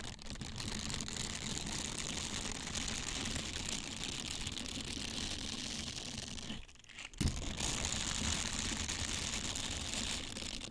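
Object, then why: Silicone bristle scrubber. Small, hollow, flexible blue silicone scrubbers with a hanging loop and a bristled surface are handled, squeezed and rubbed with the fingertips close to the mic. The result is a steady, dense, bright rubbing and crinkling texture with a low, soft rumble underneath. Near the seven-second mark the noise drops away briefly, then comes back with a soft low bump and carries on as before.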